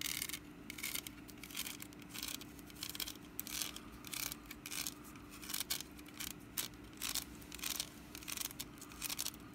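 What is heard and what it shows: Long nails scratch the ribbed woven sides of a small, hollow, orange woven wicker pumpkin basket held in one hand. Quiet, dry, bright rasping comes in repeated short bursts with almost no ring. A faint steady hum sits underneath throughout.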